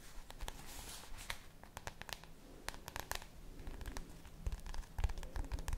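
Long nails tap and scratch the plastic cover of a red spiral notebook. Sharp, crisp clicks with no ring are heard over soft, bright scratching and a low rumble, and the taps grow denser toward the end.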